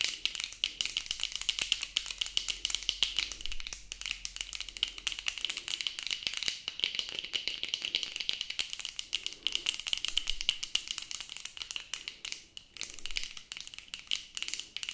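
Long acrylic nails tap fast on the plastic frame of a pair of worn sunglasses, producing a continuous bright, dry rattling with a steady high tone near 3 kHz. The taps are too dense to count and die away almost instantly, with very little low end.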